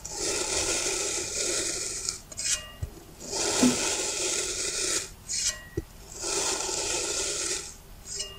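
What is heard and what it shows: A dark knife blade cuts straight down through a small, solid, rounded block of green kinetic sand in repeated parallel slices. Three long, bright, grainy rasping passes are heard, separated by short scraping bursts and faint low taps.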